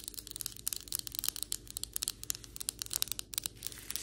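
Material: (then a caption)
Ceramic. Long white acrylic nails on both hands tap and scratch across flat, solid ceramic floor tiles. About nineteen quick, bright clicks with almost no ring stand out over a steady, crisp scratching hiss, and a faint low hum sits underneath throughout.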